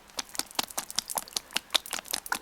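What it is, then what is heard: Mostly empty oil bottle. A small plastic bottle of reel oil, supplied with an Abu Garcia Ambassadeur Blue Yonder 2015 reel, is shaken, giving a quick series of short, bright, clicky sloshes with little low end. The bottle is only about 30–35% full, so the oil rattles loosely inside the mostly empty space.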